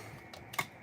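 A shimmer paint container is shaken, giving two light, dry clicking rattles, the second louder, with no slosh of liquid. The container is empty, with no liquid left, and is thrown out.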